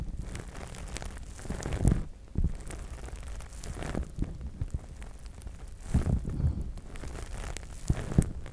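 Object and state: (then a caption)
Plastic spiked massage mat. A large flat gray plastic massage mat covered in small spikes and square pads is scratched and tapped with the fingertips and short nails of both hands. The result is a dense, low, rustling crackle of quick scratches and taps, with heavier bursts of taps standing out now and then.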